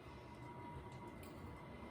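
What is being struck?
Nothing is struck.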